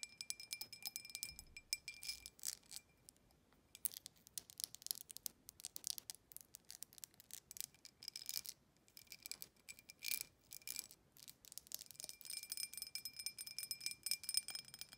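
A clear, embossed drinking glass, hollow and empty, is tapped and scratched quickly with long acrylic nails. The result is dense bursts of sharp, very bright clicks and scratchy rasps with almost no low end, each dying away almost instantly, with a faint high glassy ring in the background. Short pauses break up the flurries.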